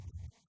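Freshly baked craft pieces are knocked on a counter, producing a dull, low thudding knock centered around 70 Hz that fades within about half a second. The pieces are still somewhat soft because they have not yet cooled and hardened.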